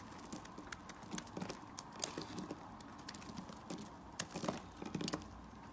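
A blade slices and scrapes thin shavings from a solid orange-yellow bar of soap held in the hand. Quiet, rapid, dry crunching cuts with bright, crisp edges come in irregular bursts over a soft steady background. Each cut stops almost instantly with no ring.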